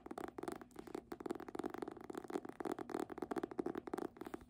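Long nails tap rapidly on the cover and spine of a red embossed hardcover book. The result is a quick, uneven run of short, dry clicks with a hollow mid-range knock and almost no low end or ringing.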